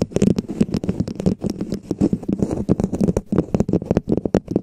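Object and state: Plastic dome cap tapped and scratched.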